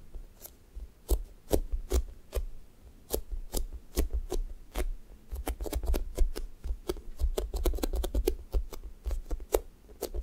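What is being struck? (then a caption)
Foam squishy toy with a sticky top. Fingertips and nails press into a thick strawberry toast squishy made of soft, solid foam and peel away from its pink sticky top. The result is a run of sharp, crisp ticks and crackles over soft, low, muffled thuds, speeding up into a dense patter of quick sticky snaps.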